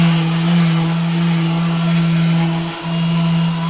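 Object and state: Nothing is struck.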